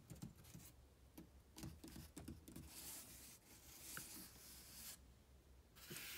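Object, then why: Corrugated cardboard box. Bare fingertips and a palm tap, rub and scratch along the side and top edge of a large, empty, open-topped corrugated cardboard shipping box printed with www.kohls.com. Early on, a series of soft, hollow taps with short rasping rubs are heard, followed by longer, hissy, bright scratching strokes across the cardboard.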